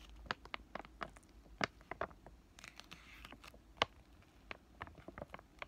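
A flat, green, laminated plastic-foil sheet mask sachet is crinkled and scratched with fingertips and short nails. The result is quiet, irregular, dry crackles and sharp scratchy ticks with bright edges, each dying away almost instantly over a faint low hum.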